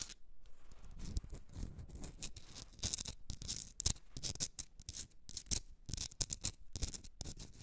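Long red nails scratch and tap a hand-sized Himalayan salt rock candle holder, a solid pink rock salt block with a rough crystalline surface, while it is held. The result is a quiet, dense run of crisp, bright scratching broken by many sharp, dry ticks and taps, with a soft low thump under some strokes.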